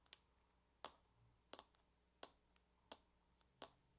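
Long acrylic nails tap in a circular pattern on the lid of a closed silver aluminum laptop lying on a table, its thin hollow shell answering each touch. Sharp, bright clicks with a short hollow knock arrive at a slow, uneven pace, with a few fainter taps between them, and each dies away almost at once.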